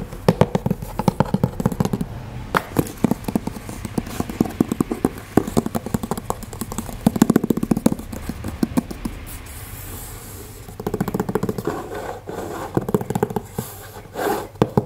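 Fingertips and nails tap and scratch across the top of a small, empty, hollow brown corrugated cardboard shipping box (an Amazon mailer) resting on a table. Rapid dry taps with a low, hollow thump run through the first ten seconds. After a brief lull, a hand rubs flat across the surface in a soft, brushing scrape.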